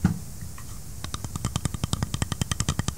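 The polymer frame of a SIG P320 M18 9mm pistol is tapped in a rapid, uneven run of about twenty short, dry clicks after a brief low thump and a quiet pause. Each tap dies away almost instantly, giving a hollow, plasticky sound compared with the .40 caliber frame.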